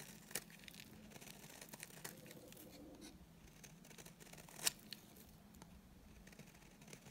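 A utility knife blade shaves a solid, dry white bar of soap held in the hand. It makes a quiet, bright, continuous scraping and crumbling rasp, with a low steady hum underneath. Two sharper clicks stand out, one near the start and one about two-thirds of the way through.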